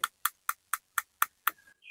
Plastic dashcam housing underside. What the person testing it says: Sama, juga plastik solid juga.